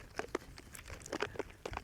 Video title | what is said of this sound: How to Make Your Own Butter (featuring Fred Woods of The Friends of Daley Ranch) | You can hear the sloshing around going on